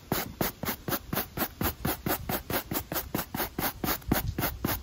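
A black textured rubber sneaker outsole, held in hand, is scrubbed with a wooden brush with stiff pale natural bristles. There are about 20 quick rasping strokes at a steady back-and-forth pace, each a short, bright scratchy burst with a low thump underneath.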